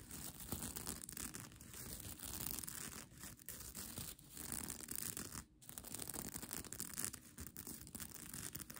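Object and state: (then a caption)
Plastic sequin blanket. Long nails scratch across the plastic sequins of a mermaid tail blanket, then the fabric is lifted and crumpled in the hands. The result is a dense, continuous, bright scratching and rustling with a brief lull partway through.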